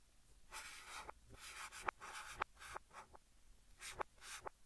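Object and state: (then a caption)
Chalk writing on a chalkboard. A white chalk stick held in the fingertips writes English text across a large, flat green chalkboard. It makes quiet, breathy scratching strokes with a bright hiss, broken by short, sharp taps where the chalk meets the board in an irregular writing rhythm.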